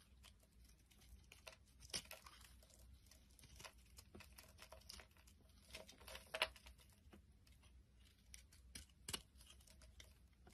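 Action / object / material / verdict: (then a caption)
scrape / solid bar soap shaved with a metal blade / soap / none. A small, solid, round lavender soap puck is held in the hand and shaved into flakes with a metal utility blade. It makes a steady run of quiet, bright, crisp scraping and crinkling strokes over a faint low hum. A few sharper crunches stand out near 2, 6.4 and 9 seconds.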